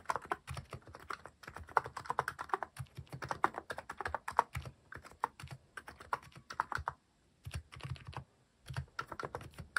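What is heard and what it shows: Fingertips type rapidly on a cream plastic-cased mechanical keyboard fitted with cat-themed plastic keycaps. A steady stream of short, crisp clacks with a soft low thump beneath each press dies away almost instantly, with brief pauses near seven and eight and a half seconds before the typing resumes.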